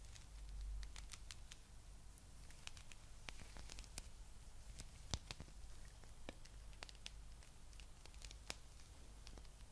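A palm-sized blue spiky rubber massage ball is scratched with long nails over its spikes. Quick, sharp, bright clicks and scrapes tick across the whole clip over a low, steady hum. Each click dies away at once.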